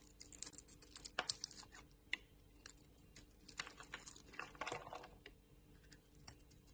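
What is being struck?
Solid soap bar.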